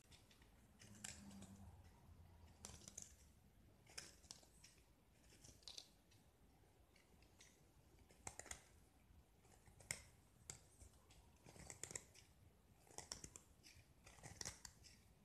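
A small, solid gypsum block with a pink marbled painted coating is held in the hand and shaved with a metal utility knife blade, so white chalky chips break off. Quiet, dry scraping is broken by repeated crisp, bright crunches as each shaving cuts away, with short pauses between strokes.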